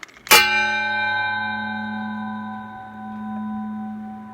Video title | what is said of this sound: DEWALT FLEXVOLT 120-Volt Lithium Ion Cordless 12 in Dual Bevel Sliding Brushless Miter Saw DHS790AT2 | you hear that ringing that's still going that means a blade is shit quality